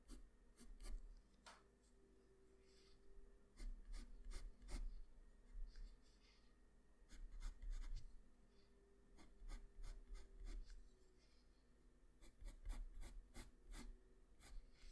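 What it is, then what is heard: Pencil strokes on drawing paper. A graphite pencil scratches line strokes across a flat sheet of white drawing paper, working on the hair and shoulder area of a drawing. Quick, dry, rasping strokes come in bursts of clustered scratches, separated by quieter pauses over a faint steady low hum.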